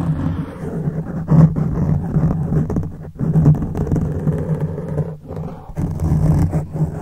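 Fingertips scratch the top of a black foam microphone windscreen, with one or both hands. The result is a dense, low, muffled rumbling scrape, almost all of it below 200 Hz and with a steady hum-like tone near 164 Hz. It swells and fades in bursts, with brief quieter gaps around 3 and 5 seconds.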